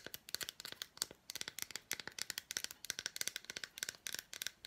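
Long black nails rapidly tap and scratch the surface of an unwrapped solid milk chocolate bar with red fruit pieces, held in the hands. The result is a quick series of crisp, dry clicks and scrapes that are bright and high, with almost no low end and no ring after each contact.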